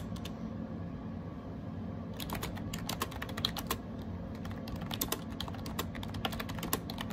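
Fingertips type rapidly on a gray AJAZZ 308i wireless Bluetooth keyboard with round plastic typewriter-style keycaps and a hollow plastic case. After a couple of sparse taps, a quick stream of short, bright plastic clacks follows, each dying away almost instantly over a steady low hum.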